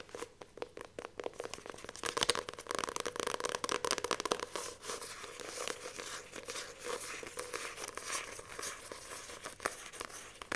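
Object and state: Paperback book with glossy card cover.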